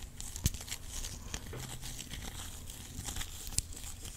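A clear plastic rhinestone organizer box, a compartment box with rhinestones inside, is tapped and scratched with long acrylic nails. A steady, crinkly scratching rustle runs throughout with a low rumble underneath, broken by a few sharp, bright taps that stop dead with no ring.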